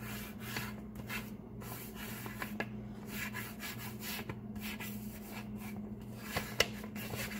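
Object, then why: Kraft paper bag. A flat, empty brown kraft paper bag lying on a table is rubbed and scratched with the fingertips and nails of both hands. Soft, dry rustling and scraping comes in bright, papery bursts, with a few sharper scratches standing out, over a steady low hum.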